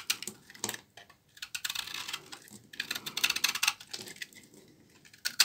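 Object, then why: Bar of laundry soap cut with a knife. A knife blade scrapes thin shavings off a solid bar of dry, old brown laundry soap held in the hand. The result is a series of crisp, dry, crackling scrapes that are bright and high-pitched with almost no low end. Each burst stops quickly, with short pauses between strokes.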